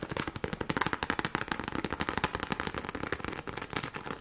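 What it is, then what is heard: Plastic rhinestone sheet being scratched. Long glittery nails scratch fast across a pink plastic rhinestone sheet held close to the camera. The result is a rapid, irregular stream of crisp, crackling scratches and clicks, each very short and bright, with a steady dense texture throughout.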